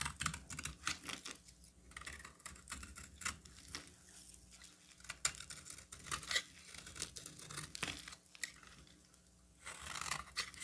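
A solid oval cream-colored bar of soap is held in the hand while a metal box-cutter blade cuts and scrapes along its edges. It makes a quick run of crisp, bright, dry scraping clicks and short shaving strokes. A few brief pauses are followed by a denser burst of scraping near the end.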